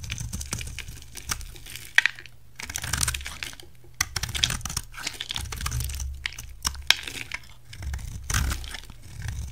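A solid, hand-sized rectangular white bar soap is held in one hand and shaved with a utility knife blade, its curls peeling off onto a white table. Dry, crisp scraping and crackling strokes come in uneven bursts with sharp ticks, bright on top over a low hum.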